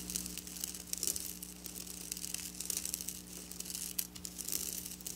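Long black nails scratch and rake across silver sequin fabric with both hands. The sound is a dense, bright, crinkly rustle in overlapping bursts, with a faint steady low hum underneath.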